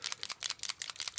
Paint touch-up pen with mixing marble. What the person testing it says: shake it till you hear the marble